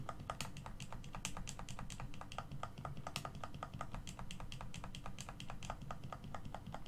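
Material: Plastic.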